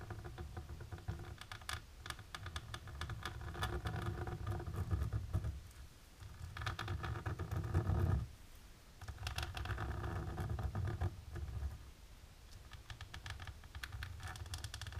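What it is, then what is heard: Embossed plastic film. The tips of long natural pink nails tap across a flat, dark embossed plastic sheet, making rapid, irregular clicking and pattering with a deep, muffled low end. The tapping comes in dense bursts separated by brief quieter lulls.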